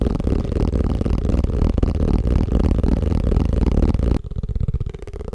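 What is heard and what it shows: A plastic tupperware food container is tapped fast and aggressively with a dense, rapid patter of dull, hollow, low thumps that carry little brightness. Just past four seconds the tapping abruptly drops to a quieter, thinner level and continues softly to the end.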